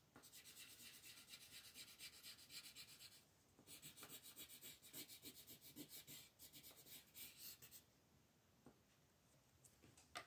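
A green colored pencil is rubbed in quick shading strokes over the tree area of a flat paper coloring book page on a table while the other hand steadies the sheet. The result is a bright, dry, scratchy rasp in rapid back-and-forth bursts, with a brief pause just after three seconds. It tapers to faint, sparse strokes near the end.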